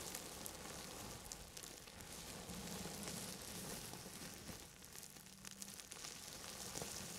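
Hands in long grey satin gloves rub and scratch a clear plastic bubble wrap sheet wrapped around a microphone, very close to the mic. The result is a steady, dense, bright crackling and rustling, like sizzling, with no distinct separate pops.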